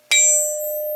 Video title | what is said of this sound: VW Crankshaft Vlog (cast vs forged) | how that Rings is still ringing